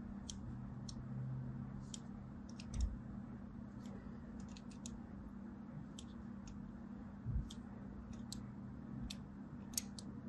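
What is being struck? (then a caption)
Bar of soap scraped by a thin metal blade. A thin scissor blade scratches diagonal lines into a solid mint-and-white striped soap bar held in a hand with long pink nails. Short, crisp, high scraping ticks come at irregular intervals over a steady low hum, with a couple of soft low thumps.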